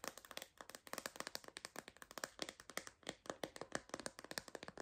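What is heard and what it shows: Long nails tap quickly on the edges and back of a clear MagSafe plastic phone case with a purple bumper. There are about 37 dry, clicky taps with no ring, bright in the upper mids and highs with almost no low end.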